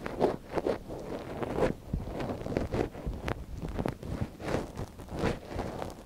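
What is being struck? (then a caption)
Silicone microphone ear scratched with a thin wooden stick. A thin wooden stick scratches inside the canal of a soft silicone ear on a binaural microphone, held in a gloved hand. The close, dry scraping and rustling comes in a steady run of short, muffled strokes, warm and low-to-mid in tone with little high sparkle.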